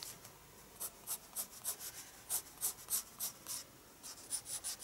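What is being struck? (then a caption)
Pencil on paper sketchbook page. A pencil scratches dense shading strokes on a page of a spiral-bound paper sketchbook. It makes a quick, uneven series of short, bright, hissy scraping bursts with soft pauses between them. The sound is quiet and has almost no low end.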